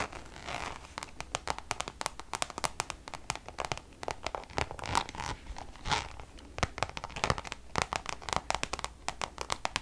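Long nails rapidly tap and scratch a Louis Vuitton Damier checkered coated canvas pouch. Quick, dry clicks and crisp scratching strokes repeat over a faint background hiss. Each tap dies away almost instantly, with bright crinkly detail.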